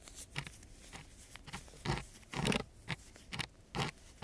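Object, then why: Coarse sandpaper sheet scratched with a wooden stick. A wooden stick held in a gloved hand scratches the grit of a coarse brown sandpaper sheet. Short, rough scraping strokes come in uneven bursts, each a dry, gritty rasp with a soft low body and a bright, hissy top. The strokes stop quickly between bursts over a quiet background.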